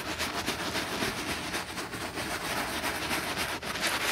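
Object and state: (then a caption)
Leather handbag being scrubbed. A black quilted grained leather handbag has its side panel scrubbed with foam and a bristle brush. It makes a steady, bright, hissing scrub with fast, uneven rhythmic strokes and little low end.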